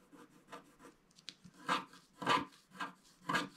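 A wooden stick scratches the coating at the bottom left of a flat black wax-coated scratch art paper card. It makes a series of short, dry rasping strokes at an uneven pace, with the last few louder and brighter, centered around 1 kHz with high hiss.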